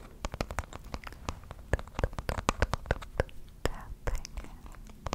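A small rectangular wooden box or block, likely hollow, is held in both hands close to a microphone and scratched and tapped with fingernails and fingertips. A rapid, irregular run of short, sharp clicks and taps sits over a soft, low scratching rustle, and each tap dies away almost at once.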